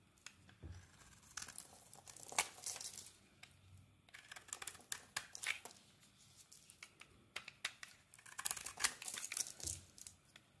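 A metal blade scrapes flaky shavings off a solid translucent glycerin soap bar with a yellow and black coating, held in the palm. The clip is quiet, with bright, dry crinkling and tearing scrapes in uneven bursts and short pauses between strokes.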